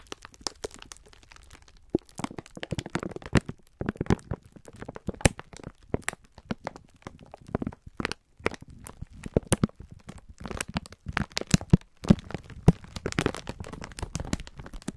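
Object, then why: Pack of sponge scourers in clear plastic film. Bare hands and fingertips squeeze and rub the clear plastic film of a full pack of sponge scourers. The result is a dense, irregular stream of crinkling and sharp cracking, with short dry snaps and brief quiet gaps between bursts.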